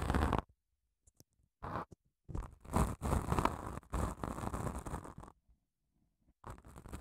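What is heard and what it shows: Long acrylic nails scratch along the gritty surface of a long grey padded emery nail file with a foam core, held in both hands. Heard are bursts of dry, raspy scraping separated by short silences, some quick and others drawn out, with a broad hiss reaching into the high range.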